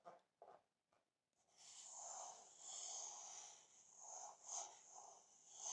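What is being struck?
Nothing is struck.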